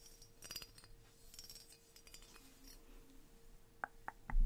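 A small, hand-high, gold-coloured metal pagoda ornament, solid with openwork tiers, is held in one hand and tapped on its tiers with long painted nails. Soft, quiet clicks and light metallic clinks scatter over a faint steady hum. A few sharper, ringing pings follow near the end before a louder, dull knock.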